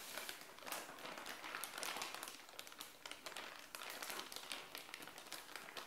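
Long nails and fingertips scratch and tap across a clear plastic bag with a black sticker, sealing a purple padded bikini top that lies flat on a tile floor. Dense, bright crinkling and scratchy rustling continue throughout, with quick sharp ticks scattered over a soft, steady hiss.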